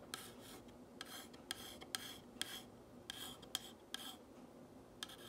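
A long fingernail traces and scratches the white letters reading "What's a nice girl..." on a black painted wooden box sign. Bursts of dry, raspy scraping alternate with sharp, bright ticks that ring briefly around 3.2 kHz. The scratching is soft and quiet overall, with little low end.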